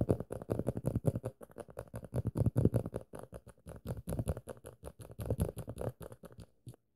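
Fingertips and short nails tap and scratch many times across the yellow and black glossy paper back cover of a closed paperback novel, a solid stack of pages held in one hand. The result is a quick, steady run of soft, dull, low-pitched taps with short scratchy strokes that stop abruptly, with no ring after each one.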